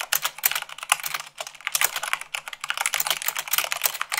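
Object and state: Plastic mechanical keyboard.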